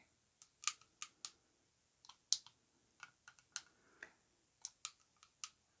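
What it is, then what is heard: Coated glass perfume bottle tapped. Long nails tap and scratch across the front of an orange-coated Yara Tous glass perfume bottle with metal rings, standing upright on fur. The result is an irregular run of sharp, bright, high-pitched clicks that die away almost instantly, with soft scratchy brushing between them.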